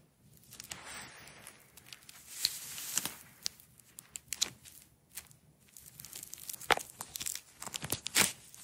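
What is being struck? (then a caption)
Nylon hook-and-loop strap. A single red nylon hook-and-loop strap is wound into a roll by long nails and fingertips, peeling the velcro apart. Bright, crackly tearing rasps come in uneven bursts, with sharp snaps between quieter rustling stretches.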